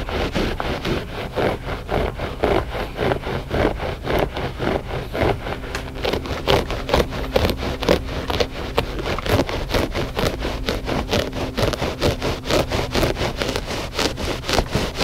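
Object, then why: Loop-pile textile rug. Short fingernails scratch and tap the pile of a flat, gray, solid and soft loop-pile textile rug, making a steady run of dry, rustling scrapes with soft taps, about two per second. Each stroke is brief and papery with a faint low hum underneath, and nothing rings on after it.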